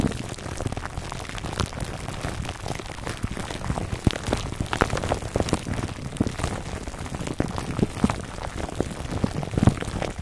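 Short nails scratch the clear plastic film wrapped around a foam microphone cover, near the top. The result is a steady, dense crinkling and crackling, like rain patter. Sharp ticks and small pops stand out over a soft, low rustle.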